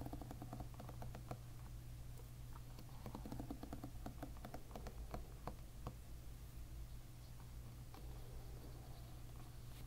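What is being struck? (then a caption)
Plastic-pin hairbrush. A plastic-pin hairbrush lies bristles-up while several fingertips strum across its plastic pins. This gives a soft stream of quick, ticking plucks with a faint bright click to each, over a steady low hum.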